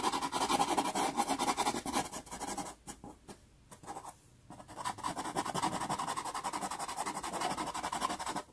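A light wooden pastel pencil, held flat, is drawn back and forth across a small taped sheet of sanded Pastelmat pastel card. It makes a steady, rapid, gritty scratching with a midrange rasp and bright hiss. The strokes fade to near silence for about a second and a half midway, then resume just as busily until the end.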